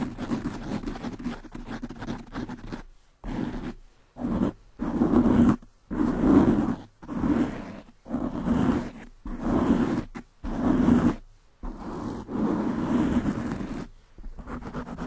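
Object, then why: Foam microphone windscreen. Long nails scratch the sides of a black foam windscreen on a desktop microphone, producing fast, rough rustling bursts. The scratches form a muffled, low-mid crackle that swells and cuts off in uneven strokes, separated by brief silences.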